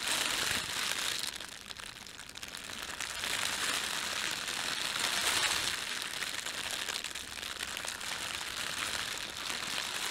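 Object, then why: Thin plastic bread bag. Fingertips rub and crumple the film of an empty, thin, red printed plastic bread bag. A steady, bright crinkling and crackling runs throughout, with almost no low end, easing briefly near the two-second mark before rising again.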